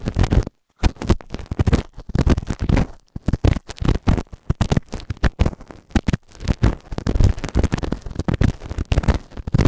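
A white plastic spatula scratches inside the ear canal of a grey silicone ear microphone, then its pointed tip is pushed in deeper. The result is a dense run of close, muffled scraping and rubbing thumps, heavy in low boom with almost no bright content. There is a brief silence near the start.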